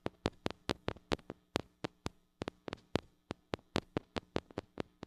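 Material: Metal.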